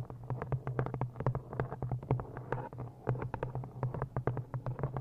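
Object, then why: Cloth-bound hardcover book. Quick, dry fingernail taps on a cloth-bound hardcover book, close-miked, with a steady low hum underneath.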